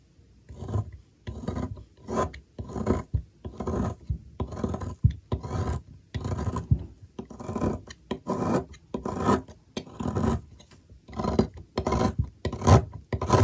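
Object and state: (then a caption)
Bar soap being shaved. A metal blade repeatedly scrapes and shaves the end of a solid oval blue soap bar resting on a table, held by a hand with long nails. Each stroke is a short, dry rasping scrape, heavy in low tones, separated by brief pauses in a loose, uneven rhythm.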